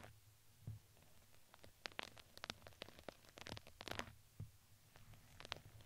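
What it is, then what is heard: Fuzzy crinkly fabric ring. A plastic spoolie brush is brushed over a red, fuzzy, crinkly fabric ring fitted around a microphone head. It makes quiet, soft scratching and rustling with many short, bright crinkly crackles over a low, steady rumble. Each crackle cuts off sharply with no ring.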